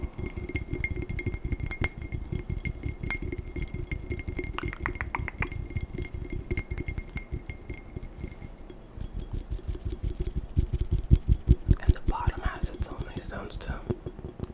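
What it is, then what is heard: Glass tumbler. A glass tumbler is tapped quickly and aggressively in a rapid, uneven stream of short, dull taps with faint glassy clinks above them. The taps grow louder and sharper toward the end.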